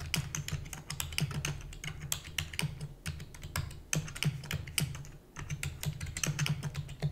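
Rapid typing on a full-size black plastic computer keyboard with hollow keys, tapped with long natural nails and fingertips. A fast, steady stream of sharp, bright clicks sits over a hollow, low-pitched thud from the keys, each tap dying away almost instantly.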